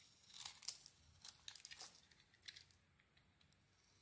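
A utility knife blade carves a solid gold "Cleopatra" soap bar with a cream interior into curls. Quiet, bright, crisp scraping and crackling bursts come in quick irregular strokes with almost no low end. Each stroke stops dry with no ring.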